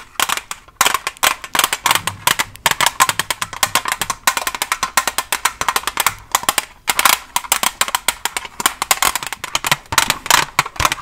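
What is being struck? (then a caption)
Plastic blister pack on cardboard backing. Long nails covered with paperclips tap rapidly on a Staedtler pencil package, a plastic blister on a printed cardboard back holding pencils. The sound is a fast, uneven stream of sharp, dry, bright clicks with almost no low end or ring and a hollow plastic tone around 1 kHz.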